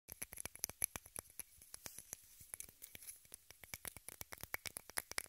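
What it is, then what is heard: Plastic case. A small rectangular pink plastic case, apparently hollow, is held in both hands above the recorder and tapped and scratched with long red-painted nails. About 35 quiet, dry, bright clicks follow one another in an uneven, rapid patter, with soft scratching between them and almost no ring.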